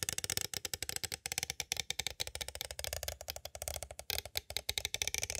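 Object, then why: Plastic cassette tape case. Two thin green-and-white striped sticks tap from both sides on a small, hollow, clear plastic cassette case held upright, holding a Mozart Horn Concertos tape with a paper insert. The result is a rapid, irregular run of about 34 bright, dry, clicky plastic taps with almost no ring and little low end.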